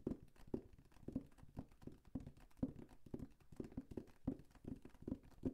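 Fingertips tap rapidly on a large, flat, hollow printed cardboard Lego set box held overhead. The quiet, dull, hollow thumps sit around 250 Hz with almost no high end and die away almost instantly, coming in quick, uneven bursts throughout.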